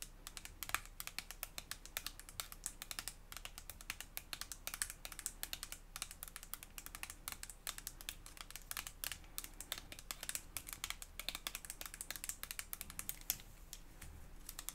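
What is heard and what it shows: A hand-sized, filled, hollow white soft plastic Prestige hair toner tube is tapped and scratched with long acrylic nails. Quick, dense clicking taps and scratchy strokes go on throughout, each sharp with almost no ring.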